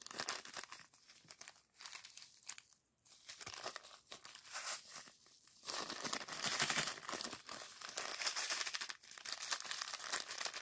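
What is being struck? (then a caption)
Plastic zip bag of sand. A small clear plastic zip-lock bag, partly filled with purple sand, is held in both hands while the fingers squeeze and rub it. The result is soft, bright, irregular crinkling of the plastic with a faint gritty rustle, growing denser and louder in the second half.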